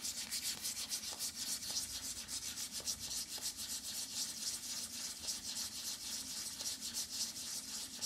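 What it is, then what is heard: Cardboard eyeshadow palette. Fingertips and nails rub and scratch across the printed back of a flat pink cardboard eyeshadow palette held up in both hands. The result is a steady, bright, dry scratching with a quick back-and-forth rhythm at a soft level.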